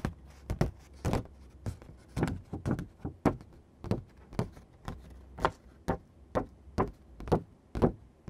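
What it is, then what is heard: Sheet of construction paper. Fingertips and short nails tap and scratch across a thin sheet of matte green construction card paper lying on a dark surface. The result is an uneven series of soft, dull thumps with brief papery scratches, each dying away almost at once. The sound is quiet and low-weighted, with little high brightness.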